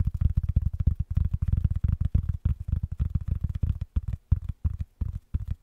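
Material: Wool felt.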